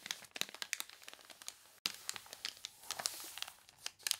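Long nails scratch and fingers rub the water-wrinkled pages of an open paper catalog resting on a table, and a page is turned. Bright, crisp crinkles and crunchy scratches come in quick bursts, with a brief silent break partway through before the rustling resumes.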